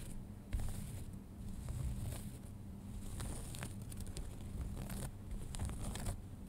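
Fingernails scratch the front pocket and waistband area of a pair of folded light-wash denim jeans. Soft, continuous rough scratching and rustling dominate the low end, broken by brief, bright scraping strokes throughout.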